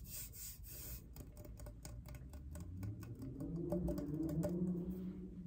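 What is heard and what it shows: Long painted nails scratch and rub a tall, hollow, iridescent rainbow-finish stainless steel Starbucks tumbler. A quick, fairly steady series of rasping scrapes is heard. A low metallic hum rises and rings through the second half.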